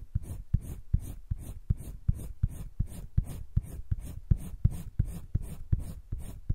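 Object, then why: Colored pencil on paper sketchbook page. A green wooden colored pencil held in the fingertips scratches and shades across a flat sheet of spiral-bound drawing paper in a sketchbook. Quick, short strokes repeat steadily, each a soft, low, dry scrape with a faint bright hiss on top and almost no ring.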